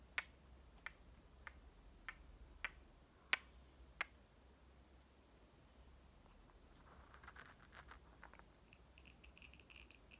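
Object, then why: Small painted wooden toy watermelon halves. Two solid halves of a small striped, painted wooden toy watermelon are knocked together by hand, giving seven short, dry, bright clicks spaced under a second apart over the first four seconds. The halves are then pressed shut, followed by quieter scratchy, rustling handling sounds to the end.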